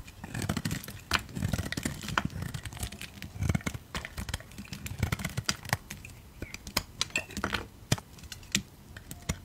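A utility knife blade shaves flakes off the surface of a solid, rectangular blue-grey soap bar held in fingers with red nails. The cuts make a quick series of crisp, dry scraping and crackling ticks with bright clicks over a soft low rumble. Each stroke is short with almost no ring.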